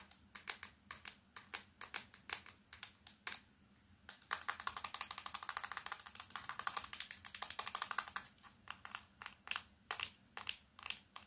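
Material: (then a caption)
Plastic. A small plastic candybar keypad mobile phone is tapped with long nails, first on the keypad and screen, then on its black plastic back. The sound is fast, sharp, bright clicking with very short decay. There is a brief pause near the four-second mark, then a denser burst of rapid clicks before the taps space out again.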